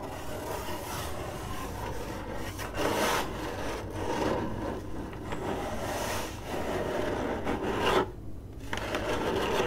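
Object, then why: Corrugated cardboard box. Long glittery acrylic nails on both hands scratch across the lid of a hollow, printed corrugated cardboard box. The result is a steady, dry rasping and rubbing with a hollow midrange body, dropping into a brief quieter pause near the end before the scratching resumes.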